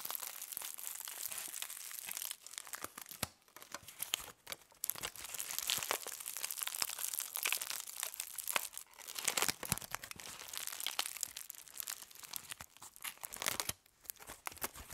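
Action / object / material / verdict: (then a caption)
scrape / aluminium foil sheet crushed into a ball / aluminium foil / none. Aluminum foil is held in the hands and crushed into a ball, squeezed with the fingers and long nails. It makes dense, bright crinkling and crackling with sharp snaps, broken by a few brief quiet pauses, with almost no low end.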